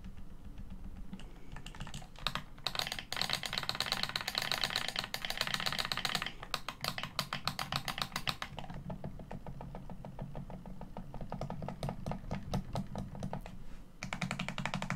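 Fingertips press and tap the buttons and surface of a hollow, hand-sized black plastic Xbox One controller held in both hands against a white surface. The result is rapid, dense bursts of sharp, bright plastic clicks that stop quickly, over a steady low rumble.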